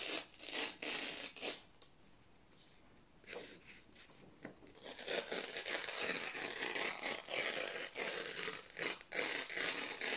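Fingertips slowly tear strips off the edge of a stack of thin white printed office paper sheets. The result is soft, bright, crackling rips in uneven bursts, with a brief quiet pause early on before the tearing grows steadier and fuller.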